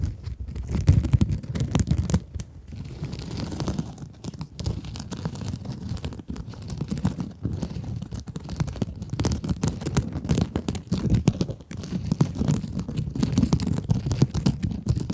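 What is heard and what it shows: A small rectangular pink scrub sponge with a sparkly woven glitter mesh surface is held in both hands and scratched with long acrylic nails. The result is a continuous stream of dense, rapid scratching and crinkling with a low, muffled body. Brief quieter dips break up the texture.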